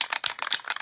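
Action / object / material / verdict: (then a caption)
shake / aerosol spray can with metal mixing ball / metal / well shaken. An aerosol spray can of lacquer is shaken, and the mixing ball inside rattles freely in a quick run of bright, dry, clicking knocks with almost no ring. The free-rattling ball shows the contents are mixed and the can is well shaken.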